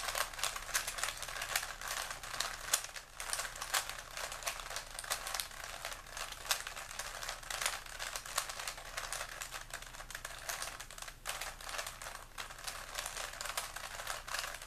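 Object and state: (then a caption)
Plastic puzzle cube being turned. A small, solid plastic 3x3 Rubik's-style puzzle cube with colored stickers is held in both hands while the fingertips continuously turn its layers. This produces a steady stream of quick, dry, bright clicks and clacks. The sound has little low end and only a faint low hum underneath.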